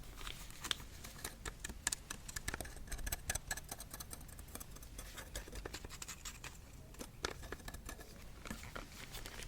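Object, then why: 35mm camera lens, metal and plastic barrel. Rapid tapping on a 35mm camera lens, bought separately on eBay, produces many quick, dry taps with a light scratchy texture. The clicks are crisp and bright, each dying away almost instantly over a low background rumble.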